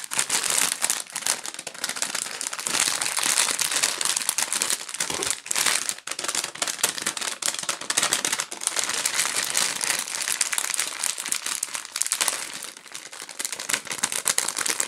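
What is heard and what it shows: A pink Hubba Bubba foil-plastic bubble gum bag, partly full, is crinkled, squeezed and scratched with long nails and fingers. Dense, bright crackling and rustling continues for the whole clip with no low rumble, in rapid bursts too close together to count.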